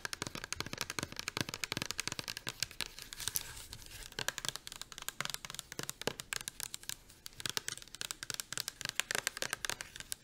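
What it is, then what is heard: Plastic shampoo bottle tapped with nails. A medium-size pink rigid plastic Pureology shampoo bottle, hollow and filled with liquid, is held in both hands and tapped rapidly with long acrylic nails. The result is a dense stream of sharp, dry, bright clicks with almost no ring and very little low end.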